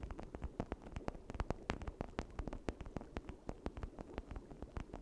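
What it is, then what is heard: Plastic toy brain. A red hollow plastic toy brain, held in both hands beside a misting cauldron, is scratched and tapped with long nails across its ridged surface. A rapid, uneven run of short, dry clicks and taps sits over a soft scratching texture, each tick dying away almost instantly with a low hollow body under bright edges.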